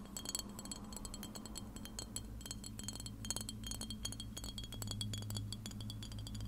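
Long red nails tap and scratch a clear glass spray bottle with a white nozzle, hollow and partly filled with liquid. Rapid, dense clicking taps bring out bright, chime-like high ringing tones that fade almost instantly. A steady low hum sits underneath and grows slightly louder near the end.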